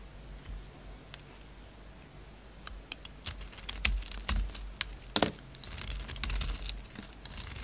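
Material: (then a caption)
Soap. A utility knife blade shaves and cuts a small, solid, rectangular black soap bar with gold dots outside and a white inside, held in the hand, into flakes. Soft, dry scraping and crisp, crackling snaps come in uneven bursts, with sharp, bright clicks over a low background hum.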